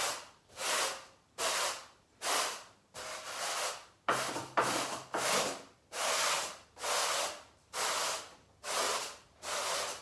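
A long-handled bristle garden brush is pushed and rubbed across a brown pile carpet on the floor in about ten separate sweeping strokes. Each stroke is a breathy, scratchy swish, bright and hissing with almost no low end, swelling and fading at a fairly steady, unhurried pace. A couple of strokes in the middle are choppier, with sharper scrapes and a faint low hum underneath.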